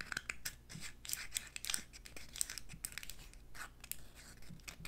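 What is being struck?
Hollow eggshell confetti egg.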